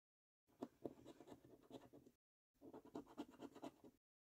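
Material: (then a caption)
Paper. A held coin scratches the latex-coated circles off a thin paper £25 National Lottery "5x £1 Million Prize Portal" scratch card. Two short bursts of dry, close-up rasping come with a quiet gap between them, each bristling with sharp scraping peaks.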